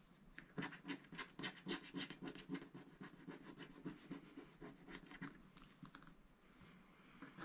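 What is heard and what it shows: A wooden stylus scratches the wax coating off a black scratch art card, first over a giraffe and then in small shapes, while the other hand holds the sheet. Quick, fairly regular scratching and rubbing strokes rasp with a dry, bright texture. They soften into lighter rubbing toward the end.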